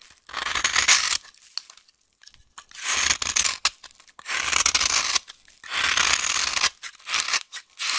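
A dry, solid yellow vintage soap bar held in the hand is scraped and cut continuously with a utility knife blade. The result is bright, crisp rasping strokes in repeated bursts separated by short pauses.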